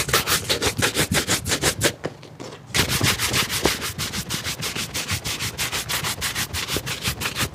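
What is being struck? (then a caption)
Leather shoe brushed with a bristle brush. A wooden-backed bristle shoe brush rubs fast over the upper of a hollow, empty black leather shoe that is held upright and then tilted. The quick, steady back-and-forth strokes make a bright, scratchy swishing rhythm, with a brief pause near the two-second mark before the brushing resumes.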